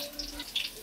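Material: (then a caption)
Fried batter. Batter-fried jackfruit pakoras, fried on both sides, are lifted out of hot oil into a vessel with a quick series of five light, bright crackling clicks over a faint sizzle. The crisp, dry sound shows the pakoras have turned out very crispy, soft inside and crunchy outside.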